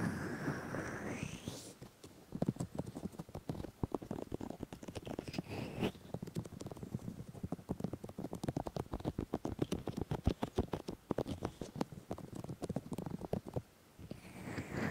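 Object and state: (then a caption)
Silicone microphone ears, tapped and rubbed. Fingertips rub and tap the silicone ears of a 3Dio binaural microphone. Close, muffled, low thumps and soft rubbing come in a dense, rapid patter, with a brighter swishing rub at the start and end.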